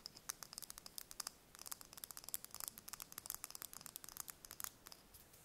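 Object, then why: Chicken egg shell. Long red nails tap and scratch a single thin-shelled brown chicken egg held in the hands. Around 32 quick, quiet, bright clicks with no ring, mixed with soft scratching and almost no low end.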